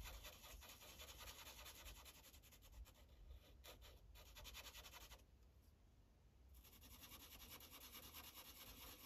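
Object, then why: Felt-tip marker on a paper sheet on a clipboard. A light green Sharpie marker tip rubs in quick back-and-forth coloring strokes across a thin paper coloring page resting on a clipboard. The strokes make a soft, bright, scratchy hiss with a low papery rumble underneath. The scratching briefly quiets around the middle before the strokes resume.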